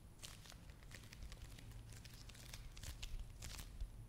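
A small, flat red foil/plastic face mask sachet is held in one hand and tapped and scratched with the long nails of the other hand. Quiet, bright crinkling clicks and scratchy crackles come in quick bursts over a steady low rumble, with a few sharper taps near the end.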